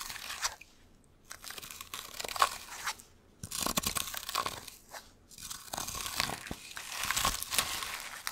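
Fursuit gloves with long hard claws scratch and claw down a small cylindrical scratching post wrapped in sisal rope, held upright beside the microphone. Bursts of dry, bright, crunchy rasping come in uneven strokes, broken by brief quiet gaps.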